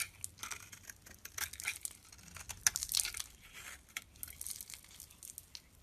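A metal blade scrapes flaky shavings off a solid, pale green rectangular bar of soap held in the palm. The result is a quiet run of short, crisp, bright scraping and crinkling strokes with almost no low end, each stroke dying away at once.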